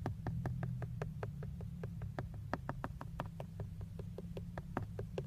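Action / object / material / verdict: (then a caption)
tap / plastic steering wheel airbag cover / plastic / none. Fingertips and short nails tap below the emblem on a hollow, textured black plastic steering wheel airbag cover. A steady run of quick, dry, clicky taps dies away almost instantly, over a constant low rumbling hum.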